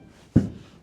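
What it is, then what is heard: Foam-filled metal gate panel, dull and rattle-free. A single knock on a metal sliding gate whose panels are filled with styrodur foam board and sealed with canned spray foam gives a short, dull, low thud with almost no ring. It decays quickly and does not rattle, showing the panel is solidly built.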